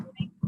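Someone taps the bottom of a whole wheat bread loaf just out of the oven, a little dark on top, producing low, hollow thumps with little ring. The hollow sound shows the bread is done.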